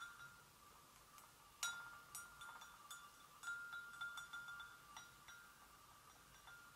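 A hollow, empty white porcelain gravy boat is gently tapped on its inner rim and sides with long nails, giving 11 light, ringing clinks. Each tap has a bright tone near 1.4 kHz that rings briefly before fading, with very little low end.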